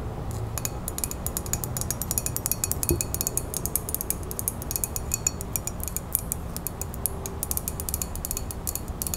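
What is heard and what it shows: A ceramic coffee mug printed with a woodland scene is held in the hands while long natural fingernails tap and scratch its sides. Rapid, bright clicking taps and scratchy ticks sound over a steady low rumble, each tap dying away almost instantly.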